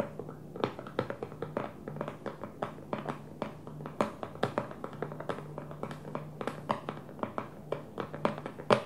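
Long fingernails of both hands tap on the clear plastic lid of a small, square, hollow food storage container with a blue plastic base, resting on a dark table. Dozens of quick, light, hollow clicks come in an uneven rhythm. Each dies away almost at once, with a tone near 550 Hz over a faint steady low hum.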